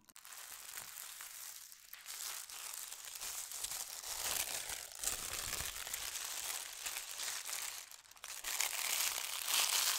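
Hands fold over the edge of a thin holly-print tissue paper sheet and smooth it flat with their fingertips and long nails. The paper gives off a steady, bright crinkling and rustling that swells louder toward the end.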